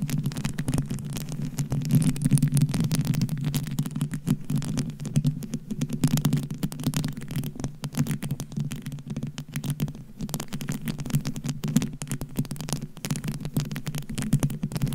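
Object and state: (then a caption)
Plastic beads on a microphone. A microphone head covered with small round plastic pearl beads is scratched and tapped by long blue coffin-shaped acrylic nails. A dense, continuous stream of rustling clicks and taps layers over a steady low hum, with fine bright crackle on top.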